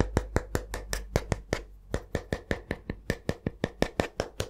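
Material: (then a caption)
Wood. A solid, flat wooden spatula is held up and tapped with the fingertips, giving 22 quick, dry, short taps in a loose, uneven rhythm. Each tap is a brief knock with little ring, over a steady low hum.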